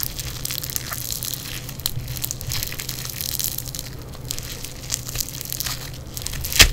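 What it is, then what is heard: Foam bead clay squeezed. Yellow foam bead clay is pressed, pinched and squeezed by fingers in black nitrile gloves, giving a steady stream of fine, bright crackling and crunching with a low hum underneath. Small pops stand out now and then, and a sharper crackle peaks near the end.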